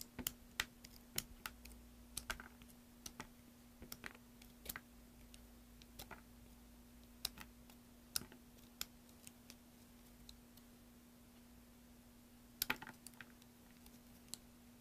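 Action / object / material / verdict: scrape / bar of soap scraped by a metal knife blade / soap / none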